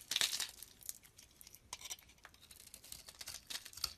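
A metal blade scrapes along the surface of a solid white bar of soap held in the palm. It makes a quiet series of short, dry, crumbly scraping strokes that are bright and hissy, with almost no low end and little ring after each stroke.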